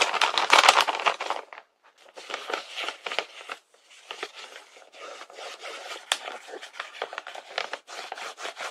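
Fingertips tap and rub across the paper surface of a large printed paper blind bag with a unicorn design, lying filled with contents on a table. Dry, crinkly rustles and quick scratchy taps come in uneven bursts, with short silent gaps, bright and papery with no low end.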